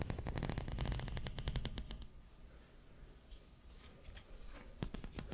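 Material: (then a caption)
Plastic. A long pink corrugated plastic pop tube, hollow and ribbed, is held in both hands in front of the mic and stretched and bent with the fingers. A fast run of sharp, bright pops and clicks over a low rumble fills the first two seconds. It fades to a quiet hiss, then a few more scattered pops come near the end.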